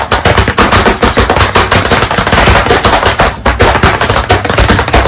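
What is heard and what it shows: White chalk sticks held in both hands rapidly tap and dot on a solid, medium-sized flat black chalkboard panel set in a wooden frame. The result is a dense, continuous run of sharp, clicky taps with a low, woody thump underneath, each tap fading quickly.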